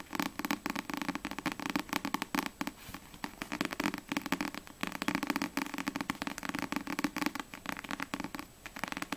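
Long nails tap and scratch rapidly across the glossy card front cover of a single Black Butler paperback manga. The result is a dense, crackly stream of quick clicks and scrapes with a bright edge, running steadily for about nine seconds with only brief lulls.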